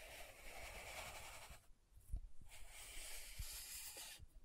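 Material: Plastic.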